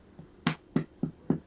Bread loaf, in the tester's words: if you want to know if a bread is done you thump it ... it sounds like it's thumping it's done